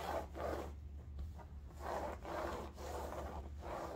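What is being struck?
Woven fabric bolster pillow.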